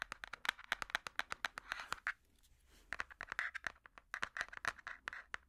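Metal finger picks tap and scratch the cardboard cover of a large, solid hardcover puzzle book. The result is a rapid, uneven run of short, dry, clicky taps centered around 1.5 kHz, mixed with brief stretches of soft scratchy rustling. There is a near-silent pause in the middle before the tapping picks up again.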